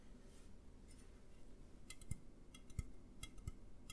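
An empty, upright A&W aluminum soda can is tapped with fingertips and nails. Soft, uneven taps and clicks sound over a low rumble, with brief bright metallic ticks on some strikes and almost no ring afterward.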